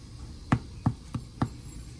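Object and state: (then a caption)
Hollow-sounding baked soda bread. The bottom of a finished Irish soda bread loaf is tapped four times, giving short, dull, low thumps that die away almost instantly over a faint steady hum. The hollow sound shows the loaf is baked through, though its bottom looks a little overdone, and it looks done when cut open.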